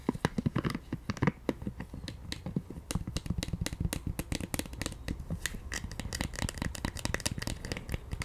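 A pink silicone scalp massager is held in both hands while its bristles and body are tapped and scratched with long nails. A rapid, uneven stream of soft, dry taps and scratchy rustles is heard, mostly dull and low with faint bright clicks. Each tap stops almost instantly, with no ringing.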